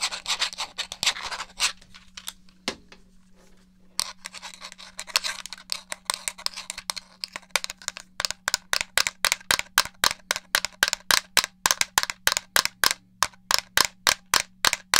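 Fingernails rub and tap the surface of a hollow black plastic gamepad held in one hand. Bright, scratchy rubbing with scattered clicks at the start gives way to quick, steady rows of sharp, dry plastic taps that continue to the end. A faint steady low hum runs underneath throughout.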